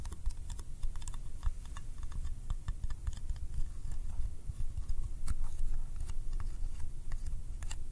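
Fingertips tap quickly on the lid and rim of a small, round, yellow candy tin made of thin, hollow metal, held in one hand. The taps come as a dense run of short, crisp, bright clicks that die away fast, over a steady low rumble throughout.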